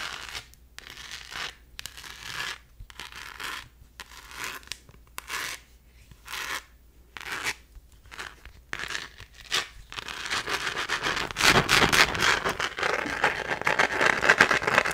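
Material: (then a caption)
Plastic. Long nails scratch a small rose-gold, glitter-textured plastic phone case held in the hand. Short bursts of dry, bright, hissy scratching come in quick strokes separated by brief pauses. After about ten seconds it shifts to continuous, louder, denser rasping.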